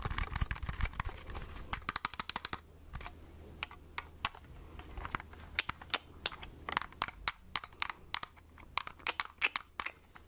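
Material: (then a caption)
Plastic. Long red-painted nails tap a small, hollow plastic-and-metal Agfa pocket compact film camera held close to the microphone. Rapid bursts give way to sparser, irregular taps. Each makes a short, dry, bright click with almost no ring, over a faint low hum.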